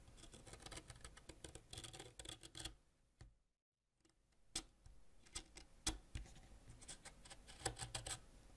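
A solid purple wax crayon is scraped along its length with a white ceramic knife, leaving wax shavings. Dense, rapid scratching with bright crackly clicks runs for a few seconds, drops to a brief silence, then resumes with sharper, more spaced scrapes.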